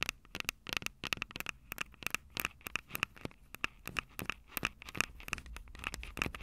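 Long acrylic nails tap and scratch the capsules of a Tascam DR-05 handheld recorder, which has a plastic body and metal mic grilles. A rapid, uneven run of dry, sharp clicks and scratches carries a bright tone around 2.6 kHz, with very little low end and almost no ring after each hit.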